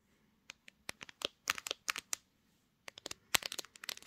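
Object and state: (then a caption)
Smartphone glass back tapped with nails. Long painted acrylic nails tap and scratch with both hands across the glossy glass back of a pink gradient Samsung smartphone that is mounted on a tripod and doing the recording. The result is a quiet run of sharp, bright clicks and scrapes with no ring, in two bursts separated by a short silence.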